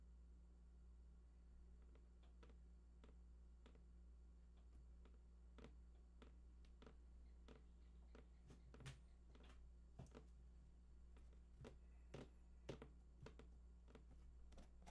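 Fingertips of both hands tap the sides of a large, hollow, printed cardboard PlayStation 4 box whose contents are unknown. Soft, dull, short taps come in an irregular patter that grows busier and slightly louder toward the end. A steady low hum runs underneath throughout.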